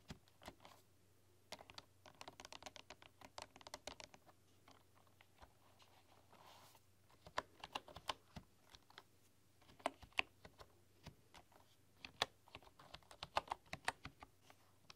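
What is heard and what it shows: Fingertips with long, dark-polished nails type on a full-size bamboo computer keyboard with wooden keys. Quick, light, bright clicking taps come in irregular bursts separated by short pauses, each tap dry and short with almost no ring.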